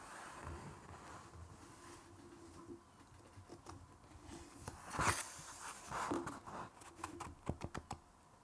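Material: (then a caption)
Paper. Fingertips with short nails rub and scratch across the text and page edge of a large open art book with thick glossy paper pages lying on a wooden table. Quiet, dry papery rubbing and soft scratches run throughout, with a louder brushing swell near the middle. A quick cluster of sharp, crisp scratch-taps follows near the end.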